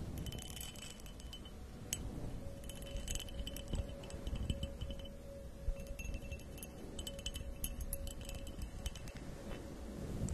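A medium, empty, hollow purple glass goblet or vase with an embossed pattern, held by the stem, is tapped and scratched by long acrylic nails along its textured surface. Many quick, bright clinks and small glassy rings sound over a low, steady rumble. A soft sustained tone hums in the background.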